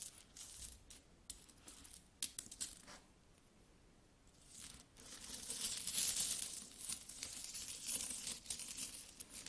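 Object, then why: Metal coins. Solid metal coins are added one by one to a palm, clinking together in bright, short metallic taps. After a quiet pause, a denser stretch of jingling and rubbing follows as the coins shift against each other.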